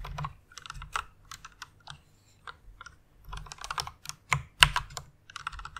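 Fingertips with long nails type on a white plastic mechanical keyboard, producing quick, irregular bursts of bright, sharp clacks over soft low key thuds. Each keystroke is short and dry, and the typing has brief pauses between flurries.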